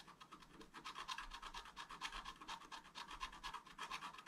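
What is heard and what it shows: A wooden stylus makes rapid, small scratching strokes across a flat, thin, solid sheet of black-coated scratch-art paper lying on a table, etching a tree canopy. It makes a steady stream of short, dry scratchy rasps at an irregular pace of about two per second, each a brief burst with a bright hiss and a scraping tone around 1 kHz. There is almost no low end.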